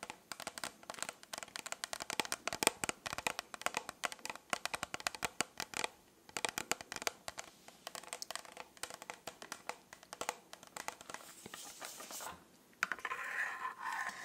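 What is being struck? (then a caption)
Plastic tumbler covered in rhinestones. Long nails rapidly tap and scratch the small rhinestones covering a hollow plastic tumbler with a pink plastic lid and straw, which appears empty, and also touch the straw. The result is a dense run of crisp, bright clicks with almost no low end, broken by short pauses. It ends in a steadier stretch of rustling scratches.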